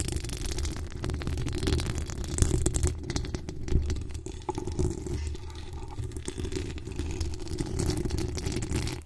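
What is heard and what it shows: Long acrylic nails from both hands scratch the hollow steel mesh grille of a pink decorated microphone. The result is a steady, dense scratching that comes through mostly as a deep, rumbling low-end texture, with faint rapid ticks on top and a few louder swells along the way.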